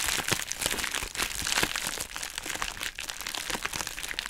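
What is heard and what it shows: Long nails scratch and squeeze a hollow pink heart-shaped plastic bubble wrap mailer bag, producing a dense run of bright crinkling and crunching with quick, dry snaps. The texture is mostly high-frequency, with little low end and no ringing between the crackles.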